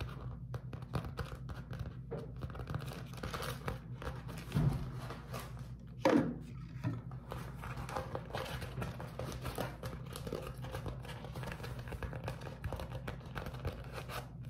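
A beeswax-coated cotton food wrap is crumpled, then spread flat and scratched with fingertips. There is a continuous soft, dense crinkling and rustling with a muffled low body, and two louder crackling bursts stand out partway through.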